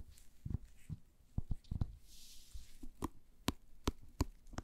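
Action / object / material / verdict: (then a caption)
tap / wooden paddle hairbrush / wood / none. An orange-tan, hand-sized solid wooden paddle hairbrush with bristles is held in gloved hands while long nails tap and scratch its surface. Short, dry, low knocks with almost no ring are scattered through the clip, and a soft, bright scratching rustle sits in the middle.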